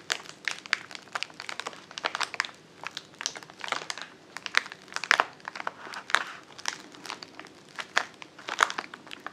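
A filled white-and-blue plastic poly mailer bag lies flat on a table and is pressed and crinkled with the fingertips of both hands. Dense, dry crinkling fills the clip with many sharp, bright crackles over a soft rustle and almost no low end.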